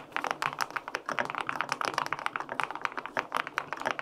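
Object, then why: Aluminum-case mechanical keyboard with plastic keycaps. Fingertips type steadily on the plastic keycaps of a white-pink full-aluminum 65% mechanical keyboard with linear switches. About 19 quick, crisp keystrokes sound in a continuous run, each with a clacky midrange body around 1 kHz, a brief bright edge, almost no low end, and very short decay.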